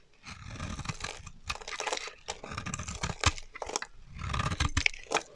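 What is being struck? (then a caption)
Bar of soap cut with a knife blade. A solid, dry teal bar of soap held in the hand is carved and scraped with a metal utility knife blade, shaving off chunky chips. Irregular bursts of dry, crunchy scraping and crackling carry both a low body and a bright, gritty top, broken by short gaps and a few sharper snaps as chips break away.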